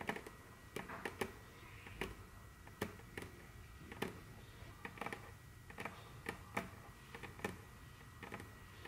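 Very long, curved fingernails on both hands tap and click across a large, solid, dark brown glossy wooden tabletop. The result is an irregular series of short, sharp clicks with bright attacks and almost no ring, over a low, steady background hiss.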